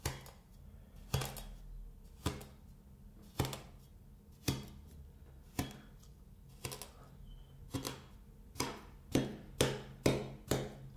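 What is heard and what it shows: A metal scraper blade chops short cuts into a solid, flat sheet of kinetic sand. Each cut is a brief, crisp crunch with a dull low thud and a quick bright edge that fades almost at once. The cuts come at a steady pace of about one per second over a faint low hum, then quicken near the end.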